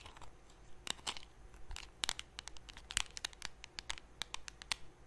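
Long painted nails scratch and tap the lid and rim of a small, round, closed blue metal Nivea cream tin held in both hands close to the mic. The result is a quiet, irregular run of sharp, bright clicks and dry scratchy crackles that stop instantly with no ring.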